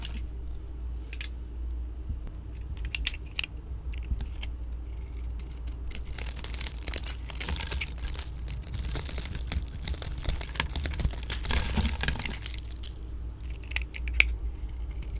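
A hand-sized, solid pink oval vintage Nordstrom soap bar is held in one hand and shaved with a metal blade tool, with dry flakes coming off while other bars sit still nearby. Sparse scratchy ticks build into a dense, bright, crackling scrape through the middle, then thin back to scattered clicks with one sharp snap near the end, all over a steady low hum.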